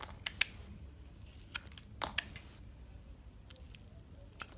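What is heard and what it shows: A solid soap bar with a purple outer layer and a lilac core, held in the hand, is peeled and shaved with a metal box-cutter blade. Sharp, bright scraping clicks and short crisp shaving strokes come at an uneven pace over a quiet low hum.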